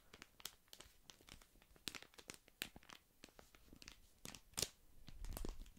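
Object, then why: Small paper tea sachet. A small, flat, printed paper tea or infusion sachet is held close and crinkled and rubbed with the fingertips. It makes a quiet, steady stream of dry crinkling and tearing-like rustles, punctuated by brief, bright crackles that stop almost instantly.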